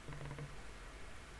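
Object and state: Nothing is struck.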